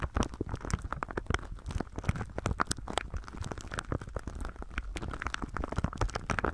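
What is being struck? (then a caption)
Thin plastic film wrap. Fingertips rub and press a thin, clear plastic film wrapped over a binaural microphone, producing a steady stream of dense, rapid crinkles and sharp crackles. Under the crisp snaps sits a heavy, muffled low rumble from the pressure on the mic.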